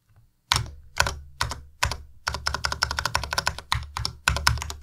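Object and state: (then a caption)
Plastic mechanical keyboard. Fingertips press and tap the plastic keycaps of a white compact Ducky Miya Pro mechanical keyboard in slow typing. A few separate, bright, clacky keystrokes with a low thock underneath give way to a denser run of quick taps, each dying away almost at once.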